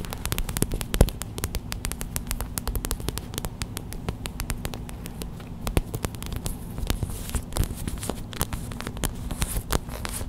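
Long white acrylic nails tap fast on a small clear plastic gel bead hot/cold pack, a pouch filled with white gel beads lying on a towel. Dozens of quick, dry plastic clicks and soft crackles patter without pause over a steady low hum.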